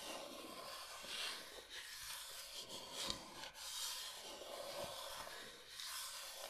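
A large, flat, solid bamboo cutting board shaped like Michigan is held upright while long nails rub and scratch across its surface. The result is a quiet, continuous, bright scratching hiss that swells and fades in waves, with a few faint taps and very little low end.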